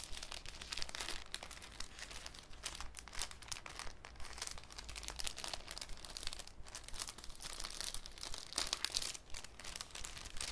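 A thin, clear cellophane sheet is crinkled and stretched between both hands over a wooden table. Dense, bright crackling and crinkling runs for the whole clip in irregular bursts, over a steady low rumble underneath.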